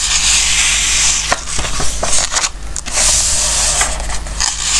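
Fingertips slide and rub across the coated pages of an open glossy-paper Christmas book resting on a wooden table, then turn a page. A bright, airy rustling hiss fills most of the clip, broken midway by a few crisp paper ticks and a brief quieter dip, over a faint steady low hum, before the smooth swishing resumes.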